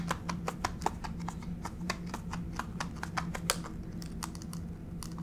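Long pink fake nails tap and scurry across a solid grey wood-grain plank laminate floor, with both hands spread flat on the surface. Quick, light, dry clicks come in an uneven patter with no ring, over a steady low hum.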